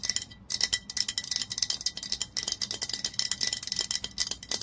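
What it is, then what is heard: Glass olive oil bottle tapped with fingernails. A glass olive oil bottle lies on its side while long nails tap rapidly on the glass body around the label. The result is a continuous stream of bright, clicky taps with almost no ring, carrying a faint glassy tone near 2 kHz.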